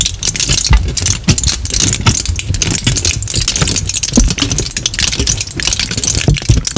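A crumpled sheet of aluminium kitchen foil is held in both hands close to the microphone and crinkled and rubbed with the fingers. It makes a steady, dense crackle of bright, high crinkling over soft low thumps from the handling, continuing for the whole clip.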